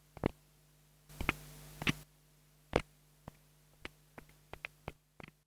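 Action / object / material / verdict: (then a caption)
tap / small plastic clip-on microphone / plastic / none. A small black plastic clip-on mini lavalier microphone, held in fingertips with long nails, is tapped on its head and body with a thin wooden stick. Short, dry, close ticks and clicks are heard, with a steady low hum throughout and a louder stretch of hiss around two of the early taps. Each tap dies away almost instantly.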